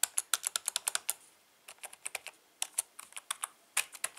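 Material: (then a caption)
Plastic. Fingertips type rapidly on the right-side keys and letter keys of a full-size black plastic membrane keyboard with a hollow housing. About 23 short, bright, clicky taps fall in quick bursts, separated by brief pauses. The sound has almost no low end and no ring.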